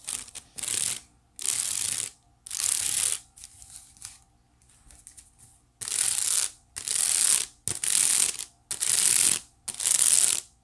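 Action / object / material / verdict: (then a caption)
scrape / woven wicker basket / wicker / none. Long nails scratch across the weave of a hollow, empty white woven wicker basket, making a dry, ratcheting rasp. The sound comes in repeated strokes, bright and hissy with almost no low end. A few softer, lighter scratches fall in the middle.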